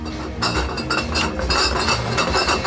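A cardboard box measuring 10 x 8 x 9 inches and weighing about 15 pounds, packed with Carling Ice Canadian beer, is shaken. The bottles inside give a steady run of bright glassy clinks over a low rumble. Several clinks stand out as sharper peaks.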